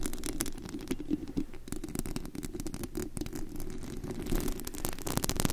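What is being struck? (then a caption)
Perforated metal microphone grille. Long acrylic nails scratch and tap across the bare perforated metal mesh grille over the hollow head of a large studio USB microphone, picked up directly at high gain. The result is a dense, continuous stream of rapid scratchy taps and rustles with a heavy low-end thump around 180 Hz from handling noise and faint bright crackle on top.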